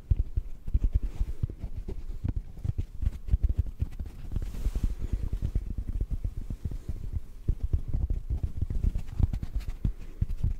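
A yellow rectangular sponge is tapped and squeezed with fingertips, producing a steady stream of soft, muffled low thumps that die away almost instantly. The taps come in quick, uneven bursts with a dull, padded character and no bright or high-pitched tones.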